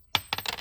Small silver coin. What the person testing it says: It's a lot harder to do the ping test on these because they're so small, but you could hear it there at the beginning